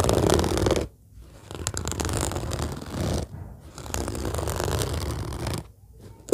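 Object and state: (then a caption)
Padded fabric case, scratched and tapped. Long fingernails scratch and tap with both hands on the top of an orange padded fabric zippered case lying flat. The result is a dense, rough, scratchy rustle with soft muffled taps, heavy in the low end. It drops into brief quieter pauses near 1, 3.5 and 6 seconds before the scratching resumes.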